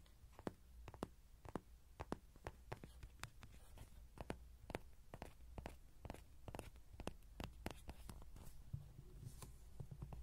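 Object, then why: Soft vinyl toy horse. Fingertips and nails rapidly tap the sides and face of a small yellow soft-vinyl Rody horse toy, likely hollow, standing upright with a pin mic on its ears. About 35 quiet, short, dry taps with hollow clicks sound over a steady low hum.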